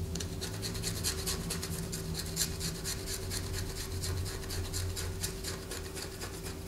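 A solid white bar of soap, held upright in the hand, is scratched with long fingernails, and the shavings fall onto a paper poster. A rapid string of dry, bright, rasping scrapes runs steadily throughout over a constant low hum.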